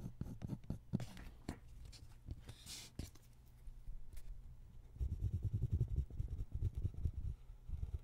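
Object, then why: Paper sheet on a wooden table, ballpoint pen. A ballpoint pen held in the fingers scratches steady drawing strokes across a single flat white paper sheet lying on a wooden table, with the other hand resting on the sheet. Short, dry scratching strokes come in quick succession, lighter and thinner through the first five seconds. They then turn louder and denser with a heavier low rasp until the end.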